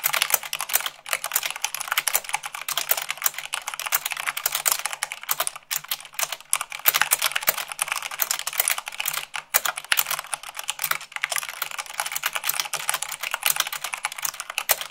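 Long acrylic nails type fast, at about 98 words per minute, on a full-size mechanical keyboard with white plastic keycaps on a black base. A dense, steady stream of bright, crisp clicks and clacks, each short and dry, with almost no low end, over a faint low hum.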